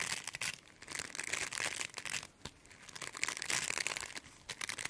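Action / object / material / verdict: scrape / plastic bristle brush / plastic / none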